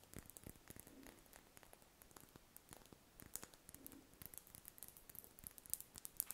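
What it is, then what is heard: Wax ball candle. Long red nails scratch and tap a large, solid, cream-coloured spherical wax candle held in the hands. The sound is a quiet, dense stream of crackly scratching with soft, dull taps and sharp, bright clicks that grow slightly louder toward the end.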